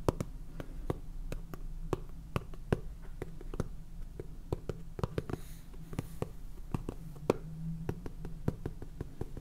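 Long painted fingernails tap and scratch the flat purple plastic lid of a small clear plastic container full of salt. Around thirty short, dry, quiet taps sound, with faint scratching between them over a low steady hum.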